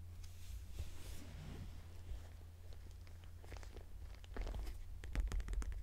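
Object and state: Leather purse.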